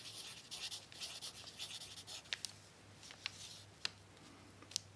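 A pencil tip writes on a crumpled brown paper sheet resting on a tablecloth, producing soft, bright scratching strokes over a faint low hum. The first half is a steady run of dense scratching, then it thins out into quieter rubbing broken by a few sharp, crisp ticks.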